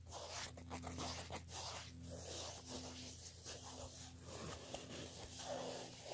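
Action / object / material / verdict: scrape / woven fabric clutch handbag / woven fabric / none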